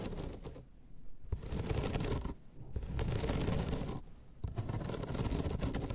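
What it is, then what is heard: Bamboo placemat. Long red nails scratch along the ribbed surface of a flat, rolled bamboo slat placemat with thin solid slats, lying on a table. The result is a rapid, raspy, ticking scrape with short pauses between strokes, weighted toward low tones.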